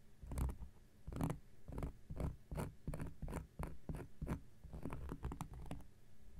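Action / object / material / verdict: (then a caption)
scrape / round cork coaster / cork / none. A round, flat, solid cork coaster is scratched with an X-Acto knife blade in a quick series of short strokes. Each stroke makes a dry, rasping scrape with a soft, low body and a faint bright edge. The scrapes stop sharply, with almost no ring.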